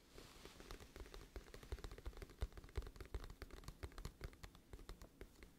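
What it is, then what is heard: Cardboard album case tapped and scratched. Long fingernails tap and scratch a glossy, hollow, flat cardboard music album case held upright. Quiet, rapid, irregular taps land as soft low thuds with short, crisp clicks over a faint scratchy hiss, each dying away almost instantly.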